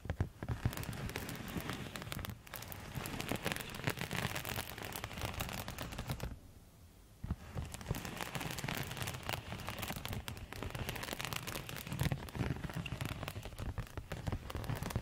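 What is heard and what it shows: A silver quilted foil thermal cosmetic pouch is tapped and scratched with long metal nail tips, making a dense stream of crinkly, rustling clicks and scrapes. The sound drops to near silence for about a second partway through, then the rapid tapping and scratching resume until the end.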